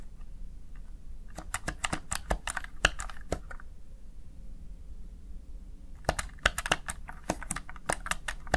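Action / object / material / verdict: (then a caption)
tap / plastic gaming keypad keys / plastic / none. Fingertips press and tap the keys of a small black plastic backlit Razer Tartarus Chroma gaming keypad. Two bursts of sharp, bright plastic key clicks are heard, the first from about 1.4 to 3.5 seconds and the second from about 6 seconds to the end. A quiet pause separates them, and a low hum runs underneath throughout.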